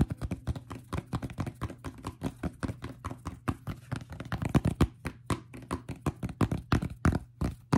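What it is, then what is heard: Fabric fitted cap. A cream and brown fitted fabric baseball cap with a stiff brim is held in the hands while fingertips and short nails tap its brim and crown. The result is a rapid, uneven run of short, dull, low-pitched taps that die away almost instantly, with no ring.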